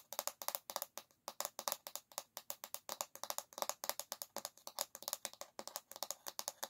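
Long nails tap rapidly on the solid bamboo back of a paddle hairbrush held by its handle, making about 46 quick, dry clicks in tight bursts over almost seven seconds. Each tap is short and crisp with almost no ring, a light woody knock near 590 Hz topped by bright clicky detail and no low end.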